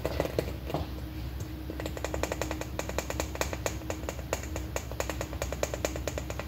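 A large, hollow, red plastic M&M-shaped candy holder, about the size of a ball, is held in both hands and tapped quickly with long painted nails. The result is a rapid string of light, hollow clicking taps with a faint tone around 480 Hz that die away almost instantly, over a steady low background hum.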